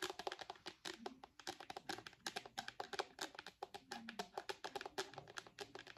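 Long nails tap rapidly and continuously on a purple hard plastic case on the back of an iPad. The taps are quick, dry clicks with a bright edge and a faint hollow tone around 400 Hz, and each one dies away almost instantly with almost no low end.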